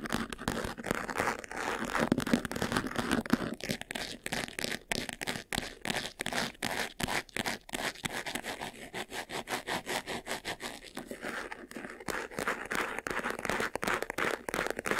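Fingernails rapidly scratch the lid edge and front of a closed, hollow, medium white textured faux-leather jewelry box. The result is a dense, fast run of dry, rasping scrapes with a papery crackle. The sound is strongest in the mids, has a bright top, and stays steady throughout.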